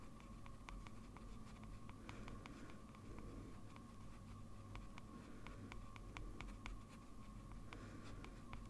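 A metal fountain pen nib scratches short, dense strokes across a large flat sheet of white drawing paper while the hand rests on the paper. Quick, faint, bright ticks and scratches sit over a steady low hum and a faint constant mid tone, all at a quiet level.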